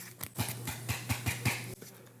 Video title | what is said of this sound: I Got Approved For 3 Credit Cards 💳 In The Same Week!!! (No Major Credit Impact) | I'm gonna flick it click it I don't know if you can hear that but yeah it's made out of metal